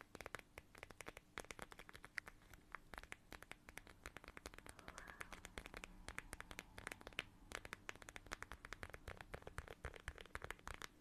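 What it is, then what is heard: Plastic pouch of gel beads, scratched and squeezed. A small, flat, transparent plastic pouch shaped like a watermelon and filled with red gel beads is held in both hands and scratched and squeezed with long nails. Quick, dry crinkling and scratching clicks come in a steady, dense stream, bright and crisp with a peak around 2.5 kHz. Each click cuts off almost instantly over a low, soft background.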